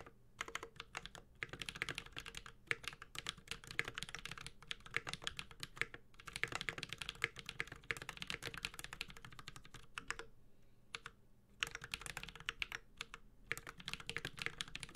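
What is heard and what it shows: Steady two-handed fingertip typing on a Space65 Cybervoyager 65% mechanical keyboard with a white-gold aluminum case, plastic keycaps, a carbon fiber plate and Holy Panda tactile switches. It makes a dense stream of short, bright, clacky keystrokes with a brief pause around the ten-second mark before the typing resumes.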